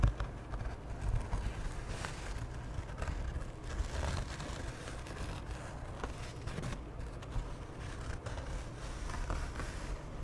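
Long nails scratch and rub across the surface of a large cream canvas tote bag with black trim, handles and a butterfly print, held up flat near the microphone. The result is a steady, low, muffled rustling and scraping with faint crackly strokes scattered throughout.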